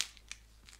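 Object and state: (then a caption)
Crisp-crusted baguette. A freshly baked homemade baguette is handled or tapped, giving three short, dry, high-pitched crackles of its crusty crust. The sound is crisp and quiet, with almost no ring after each crackle, and the crust is audibly crunchy as expected.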